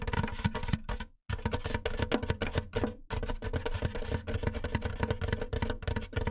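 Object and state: Styrofoam box.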